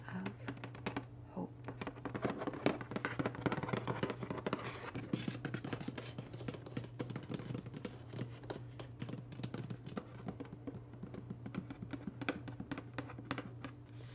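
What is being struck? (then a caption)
Large cardboard box. A large printed cardboard FabFitFun subscription box, hollow with its lid closed and lying flat, is tapped quickly on the lid and edges with fingertips and nails. Dense, dry, rapid taps and light scratches carry over a steady low hum, each tap dying away almost at once.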